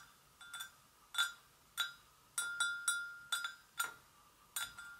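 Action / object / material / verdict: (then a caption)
tap / porcelain gravy boat / porcelain / none. An empty, hollow, medium-size white porcelain gravy boat is tapped on its sides with long acrylic nails of both hands. Eleven light, irregularly spaced clinks each give a clear ringing tone around 1.4 kHz with bright overtones that fade within about a quarter second.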